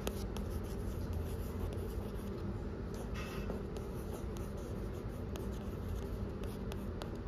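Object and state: Glossy cardboard book cover.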